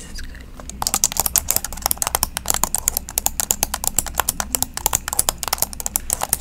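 Long acrylic nails and fingertips tap and type on the black plastic keys of an open silver-grey laptop held up in front of a microphone. After a quiet first moment, a rapid, uneven stream of many short, bright plastic clicks follows, each dying away almost instantly over a faint steady low hum.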